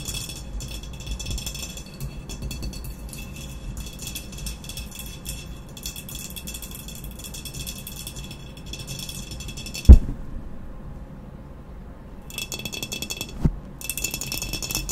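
Long nails tap quickly on the sides of an upright, medium, hollow glazed ceramic vase with a matte black textured body. The result is a dense, rattling stream of light taps with a low, hollow body under a bright, gritty top. A sharp louder knock lands near the middle, the bright rattle briefly drops away, and a second knock follows as the rapid tapping resumes.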